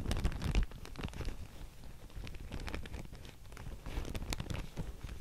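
A thin grey-white Thai mulberry paper sheet, labelled in handwriting and held up in both hands, is scratched, tapped and crinkled by long painted nails. Soft, irregular papery scratches, light taps and crinkles follow one another, loudest in the first half-second and then settling into a steady, low-weighted rustle with faint bright edges.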